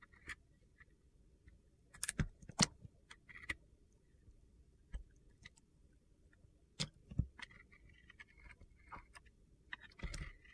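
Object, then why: Soap bar. A metal box-cutter blade carves and shaves pieces off a solid, dry white soap bar with black glitter edges, held in the hand. Sharp, crisp scraping and crunchy cutting clicks come in scattered bursts with bright, gritty edges, separated by quiet stretches with a low background rumble.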